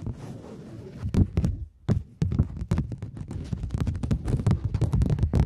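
A thin polymer £20 banknote is flexed, bent into a curve and crinkled with fingertips and long nails, giving soft low crackles broken by many quick taps and sharp snaps. The sound is dull and close, with most of its energy low and brief bright clicks on each snap, plus a short near-silent pause partway through.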